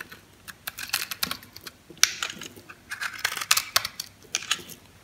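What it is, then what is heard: Dry bar soap cut into cubes. A metal knife scores and shaves small cubes off a solid green bar of soap held in the palm. The result is a quick, uneven series of short, dry, crunchy cutting clicks, bright and high with almost no low end and no ring after each cut.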